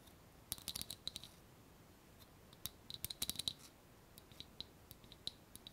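Long painted nails tap a small clear glass jar with a wire clasp lid, filled with paper pieces and held in one hand. About twenty quick, quiet, bright clicks land in irregular clusters, each ringing a high glassy tick that dies almost instantly.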